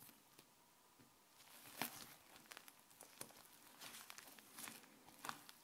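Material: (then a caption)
Slime. Fingertips with dark nails press, pull and stretch soft white fluffy slime on a grey countertop, near a microphone that is left untouched. The sound is quiet, wet, sticky squishing and crackling, with a few sharper, brighter pops that fade almost at once.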